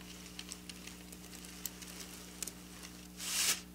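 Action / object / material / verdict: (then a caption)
scrape / sequin fabric raked by fingernails / sequins / none. Long black nails scratch and rake across bunched silver sequin fabric, producing a scatter of small, sharp, bright ticks over a faint steady low hum. Near the end, a louder bright rasping swish sweeps through the sequins and fades.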